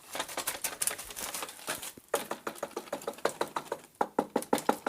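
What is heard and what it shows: A worn, broken metal shaft and head from a cheap imported brushcutter is shaken by hand, producing a quick series of loose metallic rattles and clicks. The loose play inside the shaft is the fault, in contrast to a rigid Honda shaft.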